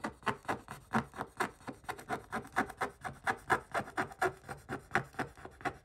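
A wooden stick scratches repeatedly across the coating of a Paw Patrol scratch-art page in a spiral notebook, the thin flat paper resting on a backing. About 28 short, dry rasping strokes come in a quick, uneven rhythm, centered around 1 kHz with little low or high content. Each stroke ends abruptly with no ring.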